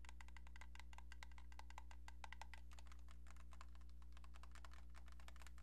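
A cream-colored hollow plastic landline phone handset with a keypad is held in one hand and tapped rapidly with long painted nails. It makes a quiet, fairly steady stream of short, bright plastic clicks over a constant low hum.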